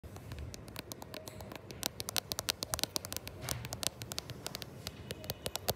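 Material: Glass.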